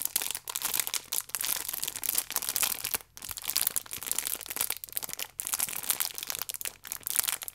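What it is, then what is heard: Plastic-wrapped pack of baking powder sachets. A multipack of orange paper baking powder sachets in clear plastic wrap is turned on its edge while fingertips and long nails squeeze and rub the film. Dense, bright crinkling and crackling runs almost continuously, broken by a few brief pauses, with almost no low end.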